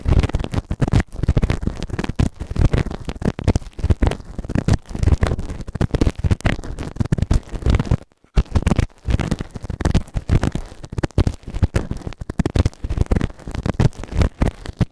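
A white plastic ear tool held in fingertips scrapes inside the ear canal of a grey silicone ear-shaped microphone on a round base, which is soft and solid. Dense, rapid, muffled scratching and rubbing fill the clip, deep and rumbly with almost no high end. The sound stops briefly around the eight-second mark before the scraping resumes.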